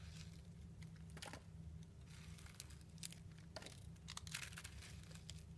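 A blade scrapes thin curled shavings from a solid round purple soap with a pink swirl carved into it, held in the hand. Soft, bright crinkly scraping bursts come in quick, uneven strokes over a steady low hum.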